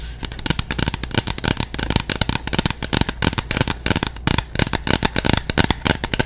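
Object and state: Plastic bottle with liquid.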